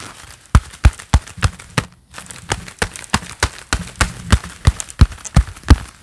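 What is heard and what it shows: Hands in a pair of black leather gloves clap quickly and steadily, each clap a short, dull, low thump with almost no ring. There is a brief pause near the two-second mark before the fast clapping resumes.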